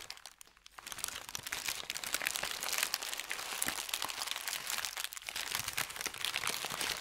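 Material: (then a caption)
Paper. A thin white paper sheet is bunched and crumpled in both hands over a felt mat. After a quiet start, dense, bright crinkling and crackling runs steadily with many sharp, closely packed snaps, and there is almost no low end.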